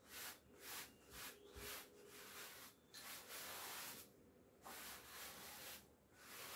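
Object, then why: Cotton twill coat brushed with a bristle clothes brush. A wooden-backed bristle clothes brush is rubbed over the front and shoulder of a navy cotton twill coat hanging on a door, brushing off hairs. Quick, bright, scratchy brush strokes sweep across the fabric in a steady rhythm, separated by brief quiet pauses, with a longer lull partway through.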